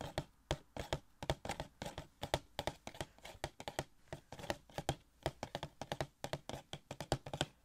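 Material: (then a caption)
Cardboard. Fingertips tap on a small, hollow cardboard Gold Shuri Funko Pop box with a plastic window, giving a quick run of soft, dull taps with a hollow low body and short, dry decay. The taps come in uneven bursts and clusters across the clip, some sharper than others, with faint crinkly highs between.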